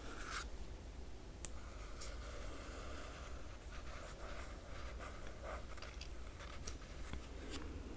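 Long nails trace and scratch across the glossy paper dust jacket of a large hardcover art book lying flat. The result is a quiet, steady, dry scratching with bright, high-pitched strokes and a sharp tick near the start, over a low background hum.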